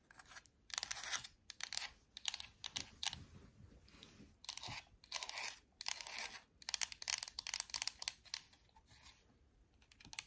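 A black Xbox wireless controller with a hollow plastic shell is held in the hands and tapped and scratched with long acrylic nails on its body and buttons. Quick bursts of bright, dry clicking and scratchy crinkling come in uneven clusters, with almost no low end and no ring after each tap.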